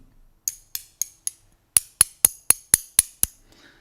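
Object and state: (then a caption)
Extracted human tooth. An extracted human wisdom tooth is tapped with a spoon eleven times: four lighter taps, a brief pause, then seven sharper ones in quicker succession. Each tap is a short, bright, high clink with almost no ring and little low end.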